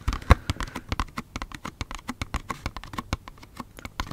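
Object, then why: Small cardboard box. Fingernails tap quickly on a small, hollow yellow L'Occitane cardboard hand cream box holding a tube. About 28 short, dry, hollow taps sound in an irregular flurry, each dying almost at once, with most of their weight in a low thump and little brightness.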